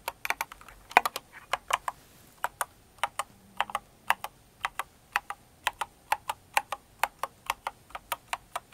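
Long-nailed fingers type on a full-size Cinnamoroll-themed mechanical keyboard with plastic keycaps, producing about 36 short, crisp clicks with a bright, clacky edge. Keystrokes start in a quick cluster, pause briefly, then settle into a fairly steady rhythm, each click dying away almost instantly.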